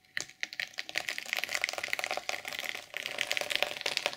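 Long purple acrylic nails scratch and flip the black and silver reversible plastic sequins on the padded cover of a large, flat sequin-covered journal lying open on a pink table. The result is a dense, rapid stream of bright, dry clicks and rustles with almost no low end, each tick dying out almost instantly.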